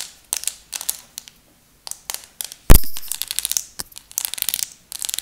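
A flat plastic nail color swatch chart, a display card with many sample nail tips glued on, is held up and tapped and scratched with long acrylic nails. Clusters of quick, dry clicks and bright scratchy rustles come in bursts separated by short pauses. One louder, sharper tap midway is followed by a denser stretch of scratching.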